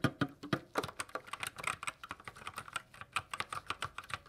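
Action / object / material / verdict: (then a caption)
tap / plastic mechanical keyboard / plastic / none. A white 60% GK61 mechanical keyboard with silver switches and plastic keycaps is typed on continuously by gloved fingertips. The result is a rapid, steady stream of short, crisp plastic clicks and clacks, each with a brief low thock under brighter upper clatter and almost no ring.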